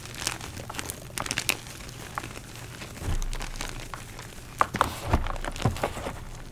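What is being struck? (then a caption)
Blocks of gym chalk (magnesium carbonate). Bare fingers and palms crush, crumble and squeeze solid, soft blocks of purple-dyed gym chalk (magnesium carbonate), with chunks and powder piled in a dark bowl. Dry, crinkly crunches and short, sharp cracks with bright edges come in uneven bursts over a soft, low rumble. Heavier, muffled squeezes swell in the middle and near the end.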